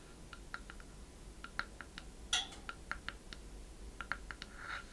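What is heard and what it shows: Long red nails tap and scratch the side of a small, hollow wooden treasure chest with a worn surface. Quick, bright clicks with very short ring come in an irregular series, with one louder scrape-like burst near the middle and a softer rub near the end. A steady low hiss sits underneath.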